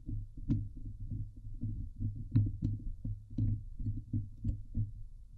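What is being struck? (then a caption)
Woven metal mesh microphone grille. Long nails scratch the top and sides of the hollow woven metal mesh dome grille of a Blue Yeti microphone. The result is a steady run of muffled, boomy scraping strokes, deep and low in tone, with a few brief bright ticks scattered through.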